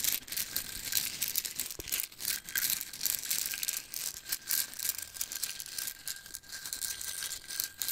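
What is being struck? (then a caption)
Plastic jar of wooden toothpicks. Fingertips and nails tap and scratch the sides of a small clear cylindrical plastic jar with a black lid, full of wooden toothpicks, and the jar is shaken so the toothpicks rattle. It makes a dense, bright, continuous rattle of quick clicks and scrapes with little low end, rising and falling in loudness, with a faint steady tone underneath.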